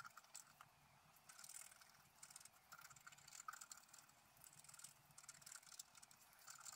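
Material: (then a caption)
Coated paper. A wooden stylus scratches the wing area of a flat, black-coated scratch-art paper sheet lying on a table in short strokes. The result is a quiet run of dry, bright scratching rasps that rise and fall in bursts, with almost no low end.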